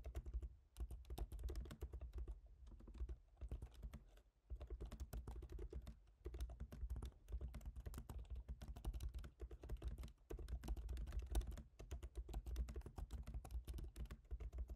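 Both hands tap rapidly with their fingertips on a MacBook Pro keyboard, black plastic keycaps set in a silver aluminum body. The result is a dense, steady stream of short, dry key clicks with a soft low thump, broken by brief pauses about every few seconds.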